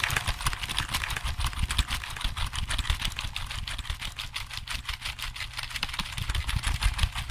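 Fingertips type fast on a hollow black plastic computer keyboard held behind and beside the microphone. The result is a dense run of sharp, bright key clicks over a steady low rumble.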